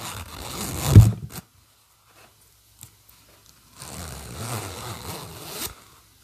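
A black and pink PINK-brand fabric bag's silver metal zipper is pulled open and closed by fingers drawing the slider along the teeth. Two rasping zips are heard: the first builds to a sharp peak near its end, then a near-silent pause broken by a faint tick, then a longer, steadier run. The sound is mostly low, buzzy scraping with a little bright hiss.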